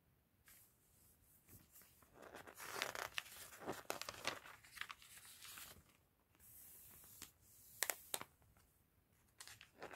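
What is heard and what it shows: Fingertips and a gloved hand flip and turn the thin pages of an open glossy paper fashion catalog on a table. The result is a bright, uneven run of crinkling, rustling and short crisp snaps with quiet gaps between turns.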